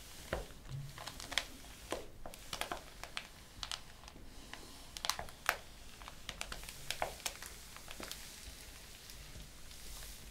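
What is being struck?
Printed paper pages in a ring-bound document.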